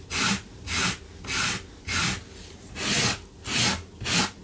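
A gloved hand vigorously scrubs a blue low-pile fabric carpet runner on the floor with a small yellow-handled wire brush, a metal tin sitting still beside it. Six bright, hissy scratching strokes are heard in a steady back-and-forth rhythm, each separated by brief pauses.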